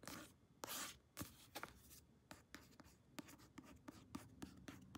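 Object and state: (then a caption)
Paperback book cover tapped and scratched with nails. Long nails tap and scratch the glossy card front cover of a paperback novel held upright. A quick, uneven series of sharp, dry clicks mixes with brief, bright scratching swipes that die away almost instantly.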